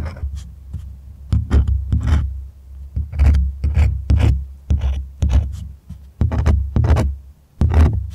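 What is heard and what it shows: A white cotton painter's canvas stretched over a wooden frame is held upright while fingertips and nails scratch and tap near its top edge. The taut, hollow-backed fabric gives off a low, drum-like thump with a soft scratchy rasp. The bursts come in quick irregular clusters over a steady low hum.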